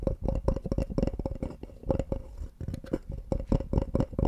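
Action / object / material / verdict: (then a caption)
tap / small wooden block box / wood / none. A small, light-colored molded wooden block or box is tapped rapidly with fingertips and scratched with nails. The result is a quick, uneven patter of short, dull, low knocks that die away almost at once, with soft scratchy pauses between bursts and a faint steady tone near 550 Hz underneath.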